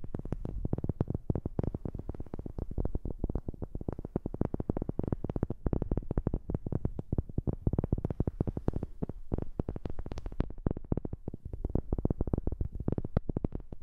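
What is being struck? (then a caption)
Wooden object. Rapid, continuous tapping on a wooden object, close to a new microphone. The taps are dry, dull knocks heavy in low thuds, each dying away almost at once, forming a steady, fast patter for the whole clip.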